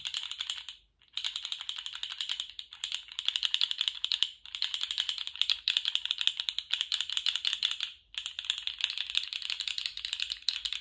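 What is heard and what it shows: A small rainbow-striped, jointed plastic slug fidget toy is flexed and wiggled in one hand, its segments rattling and clicking. The sound comes in rapid, dense bursts of dry, bright clicks centered around 3.5 kHz, with almost no low end. Brief pauses break the bursts near 1, 4.4 and 8 seconds.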